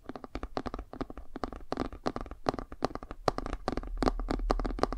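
Fingernails scratch the cover of a laminated cardboard board book, then move to its page edges. The result is a quick, irregular run of short, dry scratching strokes with a soft, low rumble underneath that grows slightly louder toward the end.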